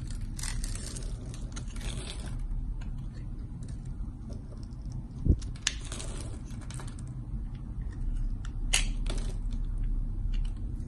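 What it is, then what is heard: Bar soap being carved. A solid green and white striped bar of soap is held in hand and carved and scraped with a box-cutter blade, cutting off slices and shavings. Soft, crackly scraping and slicing strokes come in an irregular rhythm over a steady low rumble, with a few sharper, brighter snaps standing out.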